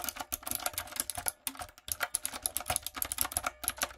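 Fingertips and long nails type on a light-up, typewriter-style retro mechanical keyboard with round plastic keycaps. A quick run of bright, sharp clicks and clacks is heard, with a brief pause in the middle before the typing resumes.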